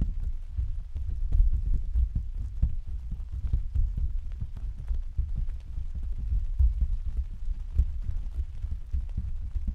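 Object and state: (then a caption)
Plastic umbrella canopy. Several hands tap and pat the thin, hollow canopy of an open translucent white plastic vinyl umbrella on a stand with their fingertips. The result is a steady, dense patter of soft, dull, low thumps centered around 90 Hz, each dying away almost at once. The patter continues throughout, with no bright or high tones.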